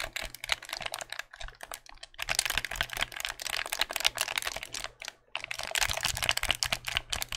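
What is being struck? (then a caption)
Plastic game controller. A white, hollow plastic game controller is held in the hands while its buttons and triggers are clicked with the fingertips. Rapid, dense runs of sharp, bright plastic clicks come in bursts, with brief pauses near 1.3 and 5.2 seconds and a faint low hum underneath.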